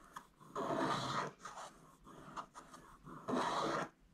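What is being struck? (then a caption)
Coated paper scratch card scraped with a wooden stylus. A wooden stylus scratches away the last areas of coating on a thin, flat, coated scratch-art card, making dry, rasping scrapes as the curled flakes build up. Two long, louder strokes bracket a series of shorter, softer scratches.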